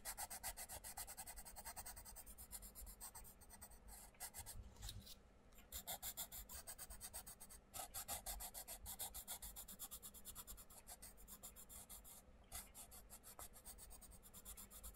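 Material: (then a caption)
Paper. A wooden coloured pencil tip rubs in dense, fast strokes across the paper page of a flat, open paperback colouring book resting on a wooden table as a section is filled in. The result is a continuous, bright, scratchy rasp with a low undertone and brief pauses between bursts of strokes.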